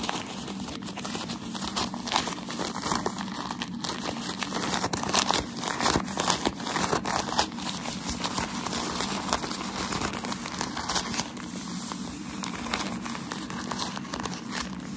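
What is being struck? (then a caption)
Thin tissue packaging paper. Bunched, thin white shoe wrapping paper is held close and scratched and squeezed with fingertips and short nails. The result is a steady, dense, bright crinkling and crackling, with brief louder rustling bursts and no ringing after each scrape.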